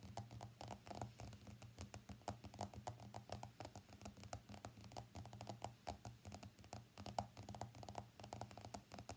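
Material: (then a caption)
Glass. Fingertips and nails tap rapidly on the glass screen of an iPhone X lying face up on a mat, making dozens of quiet, short, crisp clicks in an uneven patter. A steady low hum runs underneath the whole time.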